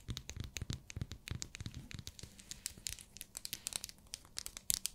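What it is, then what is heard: Glycerin soap bar tapped and scratched with nails. Long nails tap and scratch the surface of a small, translucent pink bar of hard glycerin soap. The result is a quick, uneven run of crisp, dry clicks and scratchy crackles, bright and high-pitched, with soft low thumps underneath and almost no ring after each tap.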